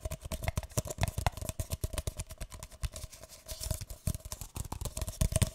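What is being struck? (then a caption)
Paper cup. A single empty, hollow, light green paper cup is held upside down and tapped on its base and sides with fingertips and nails. A rapid, uneven stream of dozens of soft, hollow taps with dull low thuds and sharp nail clicks, each dying away almost instantly. A faint steady tone sits underneath.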